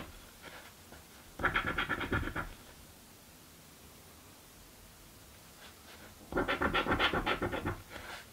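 A coin scratches the coating off a paper crossword scratch lottery ticket in two bursts of rapid, rhythmic strokes, separated by a long quiet pause. The rasping scratches are bright and papery, repeating about four times per second with a short dry decay.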